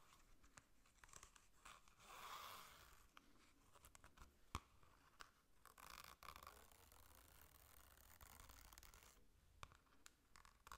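Long nails scratch and tap the cover of a hollow, yellow glossy cardboard ring-binder folder. Soft, bright scratching swells in and out, broken by sharp taps that stand out, especially a clear one around the middle. The sound stays quiet and close throughout.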